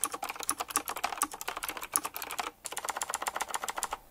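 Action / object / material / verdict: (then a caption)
tap / mechanical keyboard with round plastic keycaps in metal rings / plastic / none. Fingertips type in a fast, continuous stream on a retro typewriter-style mechanical keyboard with round plastic keycaps set in chrome rings. Each press makes a crisp, bright clack that dies away almost instantly, with no low end. The clatter stops for a brief pause midway, then resumes at the same quick pace.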